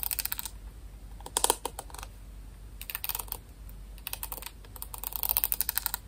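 A white plastic paddle hairbrush with pin bristles is tapped and scratched with nails on its back and bristles. Bursts of rapid, crisp clicking taps come in several clusters with quiet gaps between them. The clicks are bright and dry, each dying away almost at once, over a faint low hum.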